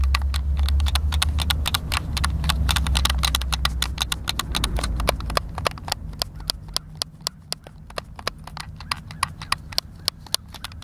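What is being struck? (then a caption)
Plastic game controller. A hand-sized, hollow white plastic Xbox controller is held in both hands while fingertips and thumbs press and click its buttons. Rapid, slightly uneven, sharp bright clicks (about four per second) sound over a low rumble that fades after the first five seconds, leaving the crisp clicks more exposed.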